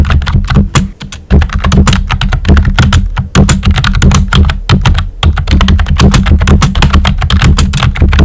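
A full-size pink plastic computer keyboard with a hollow body and round white typewriter-style plastic keycaps is typed on with short-nailed fingertips. It produces a fast, steady stream of sharp clicky taps over a deep, hollow low-end thump, with brief pauses around the one- and five-second marks.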